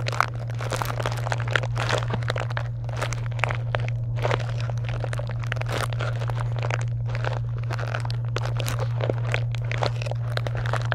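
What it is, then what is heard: Foil and plastic candy wrappers. Long nails scratch and rub the plastic and foil wrappers of a pile of wrapped chocolate candy bars in a box, making a dense, continuous crinkling and crunching that stays steady for the whole clip. Quick, bright rustles and scrapes flicker over a constant low hum.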